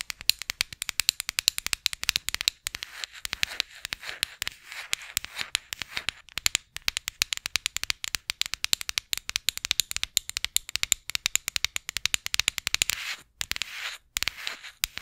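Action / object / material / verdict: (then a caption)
scrape / small flat light-wood disc / wood / none. A small, solid, flat round disc of light wood, held in front of the mic, is scratched and tapped with long acrylic nails. Rapid, dry, bright clicks and crackly scraping follow one another with almost no low end and no ring, with brief pauses near the end.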